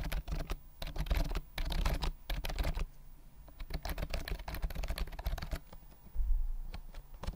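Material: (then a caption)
Plastic. A white plastic compact keyboard with round mint keys and a hollow body is held upright close to the mic while its keys are tapped and typed with fingertips. Quick bursts of clacky keystrokes carry a heavy, hollow low thud under them, broken by short pauses. A louder flurry of typing closes the clip.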